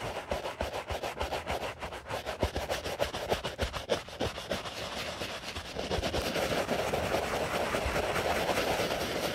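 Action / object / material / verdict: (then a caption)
scrape / leather sneaker scrubbed with a bristle brush / leather / none. A white leather Stan Smith sneaker, held hollow in a gloved hand, is scrubbed with a foamy wooden-handled bristle brush. Quick, rhythmic bristly rubbing strokes repeat at first. Around the six-second mark they blend into a louder, steadier wet scrubbing hiss.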